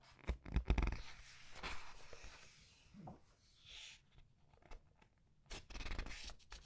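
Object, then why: Glossy paper hardcover book. Long red nails flip and press the thick glossy paper pages of a large hardcover book. The paper rustles and crinkles as the pages are turned and squeezed, with soft thumps early on, a quieter stretch in the middle, and another burst of rustling near the end.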